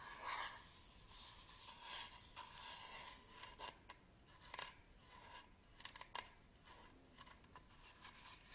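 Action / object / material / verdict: scrape / small plastic battery charger / plastic / none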